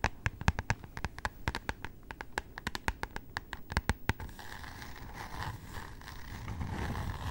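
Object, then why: Cardboard hardcover notebook. Long painted nails tap and scratch close-up on the glossy floral-printed cardboard cover of a medium rectangular hardcover notebook or planner. For about four seconds, many sharp, dry clicks land in a quick, uneven rhythm. Then it shifts to a steady, brushing scratch that slowly grows louder.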